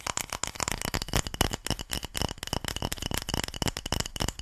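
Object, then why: Ridged bamboo paddle. A light, solid bamboo or wooden paddle with a ridged, slatted surface is held in one hand and scratched and tapped along its ridges with long nails. The result is a fast, continuous stream of dry, rattling clicks with a bright top and very short decay, close up and steady in level throughout.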